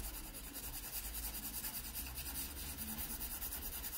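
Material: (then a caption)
Paper. A graphite pencil held at a low angle rubs soft shading onto a drawn pear on the page of an open paper sketchbook. The result is a steady, close, continuous rubbing hiss with bright high texture, a low rumble underneath, and quick rhythmic swells from the strokes.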